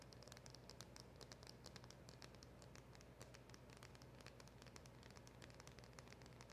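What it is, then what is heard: Cardboard box tapped and scratched with nails. Long acrylic nails rapidly tap and scratch on a small, hollow black printed cardboard packaging box held in both hands. The result is a quiet, steady stream of dense, bright clicks and scratchy rustling over a constant low hum, with no clear pauses between strikes.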